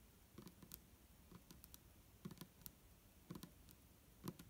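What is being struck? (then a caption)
Plastic bottle with liquid. Long fingernails of both hands tap the sides of an upright, hollow, clear plastic micellar water bottle with a green cap and liquid inside. The taps are quiet, short, dry clicks with a low hollow thump and a bright tick on top. They come in loose, irregular clusters with almost no ring after each one.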